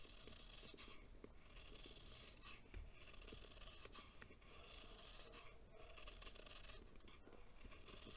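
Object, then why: Compacted baking soda lump. A solid, compacted lump of packed baking soda held in the hand is shaved repeatedly with a green knife blade. The result is a steady, quiet rasping, filing scrape with a bright, hissy top and a soft low rumble underneath, broken by brief gritty strokes.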